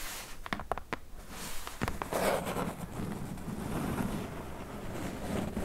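Two hands with long press-on nails tap and scratch across the flat top of a hollow brown corrugated cardboard box. A few sharp, dry clicks come first, followed by a steady, soft scratching rustle over a low rumble. The sound stays quiet and close throughout.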